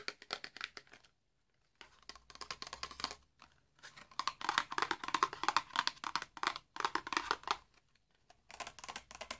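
A small, hollow, red printed cardboard box holding a candle is tapped and scratched with fingertips and nails. Bursts of quick, dry, crinkly taps and scratches carry a hollow papery tone around 1 kHz with bright edges. The bursts are separated by short silent pauses.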